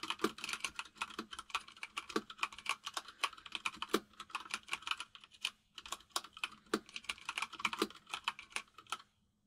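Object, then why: Mechanical keyboard with plastic keycaps. Both hands type rapidly with fingertips on a white full-size mechanical keyboard with plastic keycaps resting on a desk. The result is a dense stream of sharp, bright clicks and clacks with almost no low end, broken by a brief pause near the middle. The clicks are clear and fast, with very short decay.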